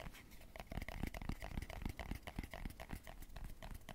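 Fingertips and nails rapidly tap and scratch the black lid and sides of a small, closed, round hair pomade jar or tin with a yellow label, held in both hands close to the mic. The result is a quick, uneven patter of short, dull low thumps mixed with brighter clicks and scratchy rustle, each tap dying away almost instantly.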